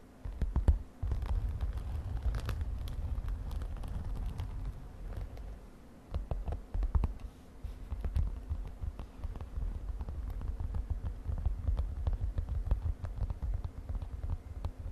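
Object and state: Glitter fabric cosmetic pouch.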